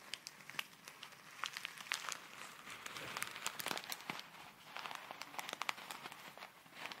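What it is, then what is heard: Plastic bag of foam beads. A small clear plastic zip bag full of tiny colourful foam beads is held up and shaken, then crinkled with fingertips and long nails. The result is soft, bright rustling and crinkling, dotted with many sharp, crisp crackles and clicks, with almost no low end.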